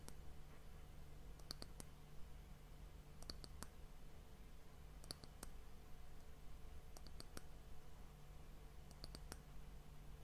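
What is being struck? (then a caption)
Polished wooden hourglass end cap. A round, solid, polished dark wooden end cap of an hourglass is held close to the mic and tapped with long fingernails. Quick clusters of sharp, bright clicks come in short bursts about every two seconds over a steady low hum.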